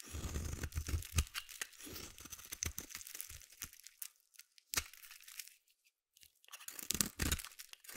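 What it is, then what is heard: Bar soap being shaved. A hand-held solid purple soap bar is shaved with a metal utility blade in irregular scraping strokes. Each stroke gives a dry, crisp tearing crunch with bright, high hiss and a low thud at its start. The strokes come in quick bursts, pause briefly near the six-second mark, then resume.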